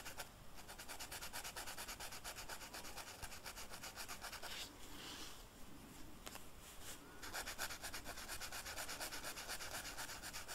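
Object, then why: Felt-tip marker on velvet-flocked paper sheet. The felt tip of a purple marker is rubbed in quick back-and-forth coloring strokes across a flat black velvet-flocked paper sheet. It makes a steady, soft, bright scratchy rustle, with a brief lighter stretch partway through before the brisk strokes resume.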